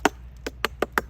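Five quick, dry knocks on the burned bark of a fire-damaged banyan tree branch give a short, hollow tap with a low-mid body and almost no ring. The bark is hollow underneath and expected to come off, and the branch will likely die.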